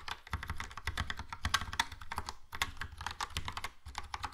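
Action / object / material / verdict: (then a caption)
tap / plastic mechanical keyboard / plastic / none. Fingertips type quickly on a Logitech POP Keys plastic mechanical keyboard with a yellow plastic case and round plastic keycaps. A dense, steady run of short clacks is heard, each with a low thock and a bright plastic click that stops almost at once.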